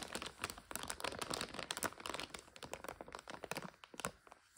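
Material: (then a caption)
Plastic. A clear plastic bag of about 400 g of dry egg noodles, with a printed card label, rests on a couch while long red striped nails squeeze it and scratch across it. Dense, bright crinkling and crackling comes in quick, short bursts with little low end, and the bag's rustle dies away almost at once between squeezes.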